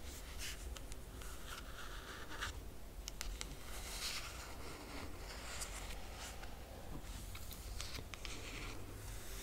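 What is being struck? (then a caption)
Laminated cardboard hardcover book cover. Long fingernails on both hands scratch across the laminated cardboard cover of a closed hardcover book. Soft, dry scraping strokes come in short bright bursts over a steady low hum. The sound stays quiet and even throughout.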